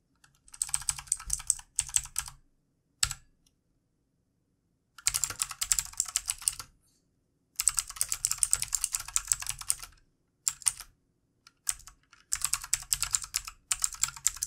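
Fingertips of both hands type on a full-size backlit plastic mechanical computer keyboard with plastic keycaps and a hollow housing. Bursts of rapid, bright clicky keystrokes come in several runs separated by short silences, each tap sharp with almost no ring.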